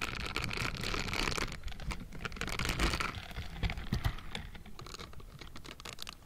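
A hollow metal mesh microphone grille is scratched with the bristled fingertips of pink silicone gloves. The result is a dense, irregular patter of quick scratchy ticks with bright hiss and a low body. It starts fuller and slowly fades toward the end.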